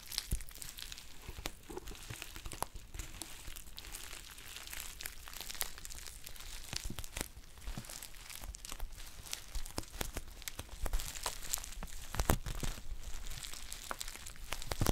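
A green metallic foil tea pouch with a paper label is squeezed, crinkled and scratched with long painted nails. The result is a steady stream of dense, bright crinkling with many sharp crackles and snaps over a low, steady rumble, with slightly louder bursts toward the end.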